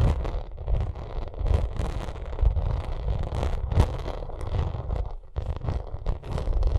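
Long nails scratch and tap across a bumpy vinyl makeup bag. A steady, dense run of rough scratching is heard, broken by quick taps and brief rustling bursts, with most of the sound weighted low and muffled.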